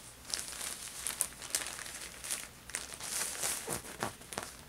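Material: Plastic.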